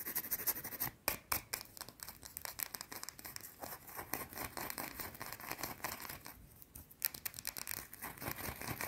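Long blue-painted nails rapidly and aggressively scratch and tap a small, solid, round white soap bar held in both hands. The result is a dense run of quick, dry, bright scraping clicks with short sharp attacks and very little ring.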